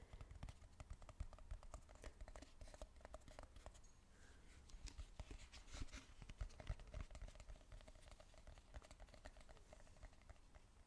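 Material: Plastic.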